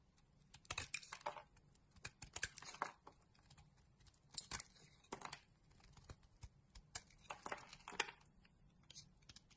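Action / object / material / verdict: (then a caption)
scrape / solid soap bar / soap / none. A palm-sized pink solid bar of soap, held in a hand with long dark nails, is shaved into slices with a box-cutter blade. Quiet, bright, crisp scraping and crackling bursts come in irregular clusters, each cut ending quickly with little ring.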